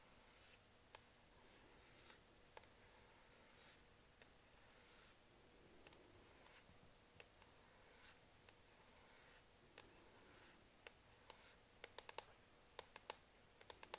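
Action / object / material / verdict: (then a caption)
tap / plastic laptop palm rest / plastic / none. Long manicured nails and fingertips tap on the solid black plastic palm rest beside the touchpad of a Lenovo Ideapad laptop. About 20 quiet, sharp, bright clicks sound, each dying almost instantly, spaced out at first and then coming in a quicker cluster near the end, over a faint steady hiss.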